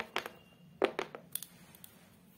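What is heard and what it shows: Long colorful acrylic nails tap and scratch the solid, flat beige cork-textured board with a black edge that forms the back of a photo frame, lying on a table. About eight short, dry, quiet taps come in small clusters, mid-pitched with bright clicky tips. Each dies away almost instantly, with no ring.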